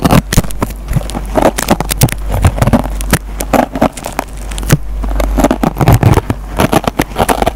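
A metal-tipped pencil scratches and pokes the green nylon scouring pad on a yellow foam sponge. A dense run of short, crackly scratches and sharp pokes sits over a steady low rumble, each click dying away almost at once.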